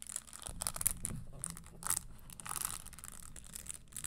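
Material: Leather.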